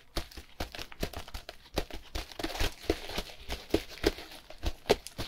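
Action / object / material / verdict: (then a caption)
scrape / compressed hay block in plastic film / plastic film / none. Gloved fingers scratch and tap the sides of a cube-shaped compressed hay block wrapped in plastic film. The result is a rapid, irregular run of dry crinkling and scratchy taps, each dying away almost at once.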